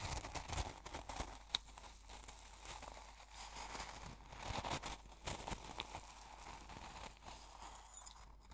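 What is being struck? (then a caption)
Coarse salt crystals in a glass jar stirred with a metal spoon. A metal spoon scoops and stirs the coarse salt crystals in a small open glass jar full of salt. The result is a steady, quiet stream of gritty crunching and crinkling with bright, sharp grains and a few louder scrapes.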